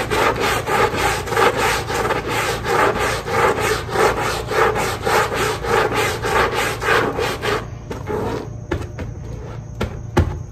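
A long-handled stiff-bristle push brush scrubs across a small pink fabric pile rug that is soapy and wet, making steady, rhythmic rasping strokes for about 7.5 seconds. The scrubbing then stops, leaving quieter scattered rubs and a few sharp knocks.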